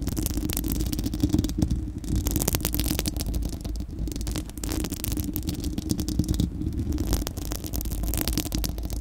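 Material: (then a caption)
Steel mesh. Long acrylic nails of both hands scratch directly across a bare, round, hollow steel-mesh microphone grille dome. The result is a continuous, dense scratching: heavy low rumble with rapid crackly, bright ticks layered over it, easing briefly in a few short gaps.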